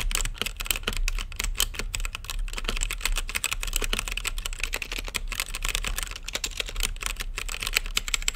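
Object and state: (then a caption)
Plastic mechanical keyboard. Continuous fingertip typing on an RGB-lit mechanical keyboard with plastic keycaps and a clear acrylic case, producing rapid, overlapping clicky taps with a bright, clacky edge and a low thud beneath. Each keystroke is short and dry, with the taps running together into a steady rattling stream.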